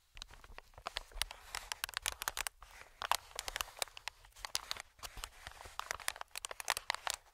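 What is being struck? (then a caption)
Inflated plastic-film air cushion. Fingertips tap and scratch the surface of an inflated, medium green plastic-film air cushion. They make a dense run of quick, dry crinkling clicks and scratchy rustles that are bright and thin, with almost no low end. Each tap dies away instantly with no ring.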